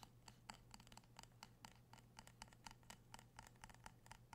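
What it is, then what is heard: Glass candle jar. A small amber-orange glass candle jar with a printed label and a metal rim, filled with wax, is held in both hands and tapped and scratched with fingertips and nails. About twenty quick, dry taps land at an uneven pace, each a short clicky knock with a tone near 880 Hz and bright ticks that die away almost at once. Soft scratching and a steady low hum run underneath.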